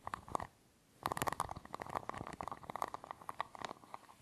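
Fingertips and nails scratch and tap the ridged edge of a small, round, hollow silver aluminium tin with a threaded screw-top lid. A few quick clicks are followed by a short pause. Then comes a dense run of sharp, dry ticks and scrapes with a bright metallic ring that dies away almost at once.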